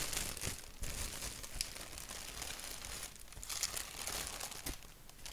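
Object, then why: Thin printed paper sheet. Fingertips scratch a thin white paper sheet with a black doodle print, then hands crumple it. A dense, bright crackle of crinkling and scratching runs steadily throughout, with some soft low thumps underneath.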